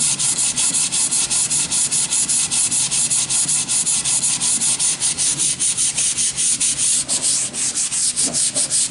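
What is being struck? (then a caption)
Wooden board. A sanding sponge is rubbed back and forth along the surface of a long, solid wooden plank with worn holes. The result is a steady, rhythmic, bright scratchy hiss with almost no low end, pulsing with each quick stroke.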